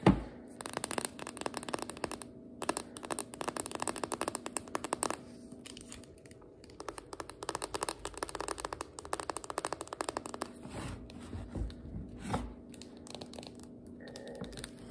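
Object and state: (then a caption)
Cardboard biscuit dough can with metal ends. Long acrylic nails tap and scratch the metal end cap of a refrigerated biscuit dough can, a spiral cardboard tube with a paper label and metal ends, full of dough, then move to the label side. Rapid dense clicking and scratching comes in bursts, with a quieter, softer stretch partway through before the tapping resumes.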